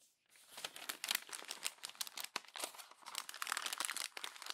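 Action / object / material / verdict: scrape / glossy paper magazine pages / glossy paper / none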